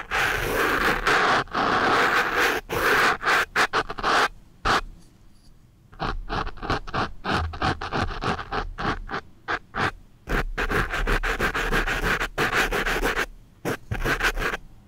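A wooden pencil tip scratches and rubs against a black foam microphone windscreen, producing close, dry, broadband scratching in rapid, irregular strokes. The strokes come in dense bursts, with a quieter stretch of soft rubbing near the middle before the scratching picks back up.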